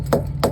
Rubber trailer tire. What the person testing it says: listen for a hollow sound when you can't get to that air tip